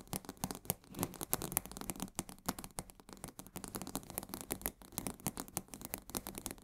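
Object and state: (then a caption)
Full cardboard box of salt. Fingernails rapidly scratch the sides of a full 1 kg cardboard box of coarse salt held upright in both hands. The result is a quiet, dry, crackly rasp of quick, closely spaced strokes with no ring, spread from low thumps to a bright papery hiss.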